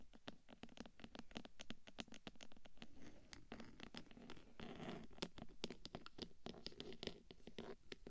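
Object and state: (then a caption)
Metal microphone case scratched with nails. Long fingernails on both hands scratch the top of the hollow black metal body of a 3Dio microphone, then one hand scratches along the side of the case. The result is a quick, steady run of short, bright, crisp scratch strokes over a low, hollow body tone, with brief rougher scraping stretches in between. The sound is fairly quiet and close.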